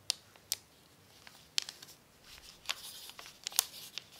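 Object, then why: Crinkled paper sheet. A pencil tip scratches across a crumpled brown paper sheet resting on a tablecloth while writing. A series of short, sharp, bright scratch and crinkle ticks stands out over faint, dry rustling with almost no low end. There is no ring after each stroke.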